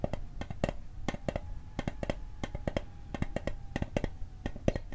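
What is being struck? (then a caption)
Small metal mint tin. Fingertips and nails tap the lid of a small hollow metal Altoids mint tin held close to the microphone. A fast, uneven run of sharp, dry clicks follows, each dying away almost at once over a faint metallic ring.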